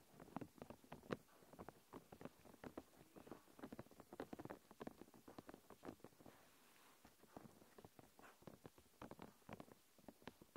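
Long nails tap and scratch across a thin, clear plastic protective film wrapped around a recorder. Quick, irregular, dry crinkly taps and scratches come in close succession, fading to a brief near-quiet lull around the seventh second before resuming. The sound stays soft and close, with short, sharp clicks and no lingering ring.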